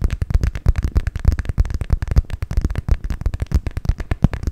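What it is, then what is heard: Clear vinyl pouch, crinkly plastic. Long pink nails rapidly tap and scratch the crinkly surface of an empty, hollow clear PVC cosmetic pouch, a transparent vinyl pouch with pink trim, held close to the mic. A dense, steady stream of short, dry tapping and crinkling clicks carries mostly low, thumpy body, with each tap dying away almost instantly.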